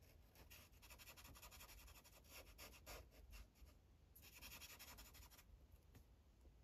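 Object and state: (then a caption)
Felt-tip marker coloring on paper. A dark green Sharpie felt tip rubs in small circular coloring strokes on a thin paper coloring page resting on a clipboard. Quick, soft, uneven scratchy swishes repeat in bright bursts, with a short pause before a final stretch of steady rubbing over a low background rumble.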